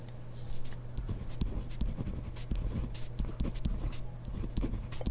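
A hand writes rapidly with a ballpoint pen on grid paper in a spiral notebook, the pen tip scratching across the page. The result is a quick run of short, dry scratches and taps over a steady low hum.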